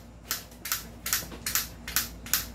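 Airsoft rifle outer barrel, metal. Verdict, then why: Loose. A non-upgraded M14 SOCOM wood edition airsoft rifle replica is shaken, and its loose metal outer barrel rattles in six sharp, bright metallic clicks with a faint low hum beneath. The loose outer barrel is a fault; the upgraded version's outer barrel is fixed and does not rattle.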